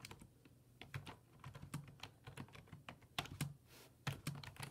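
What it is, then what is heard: Plastic computer keyboard. Fingertips type rapid key presses on a black plastic full-size desktop keyboard with low-profile keys resting on a wooden desk. Quick, dry clicks and soft thuds follow one another unevenly, each dying away almost instantly. A bright tick sits on top of a dull low knock.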